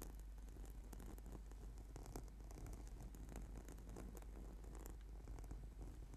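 Clawed fingertips and nails of both hands scratch across a flat, purple, sticky yoga mat, a solid sheet of rubber/PVC foam. The scratching makes a continuous, low, purring rumble with dense grainy texture and occasional brief bright scrapes, holding a steady, quiet level throughout.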